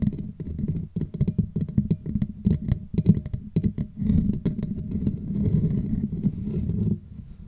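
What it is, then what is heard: Metal mesh microphone grille. Long nails and fingertips rapidly tap and scratch a hollow black metal mesh microphone grille, making dense, muffled, bass-heavy clicks with faint bright scratchy edges. After about four seconds, the hands grip and rub the mesh in a steadier low rustling. The sound drops to quiet scraping near the end.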